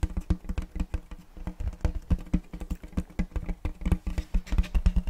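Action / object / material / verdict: tap / round wooden checkerboard tray / wood / none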